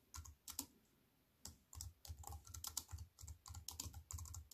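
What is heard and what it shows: Long white fingernails type fast on a compact wireless keyboard with black plastic keys in a thin silver aluminium frame, resting on a wooden table. Quick bursts of crisp, bright key clicks ride over soft low thumps, with a short pause before the typing picks up again and continues in steady flurries.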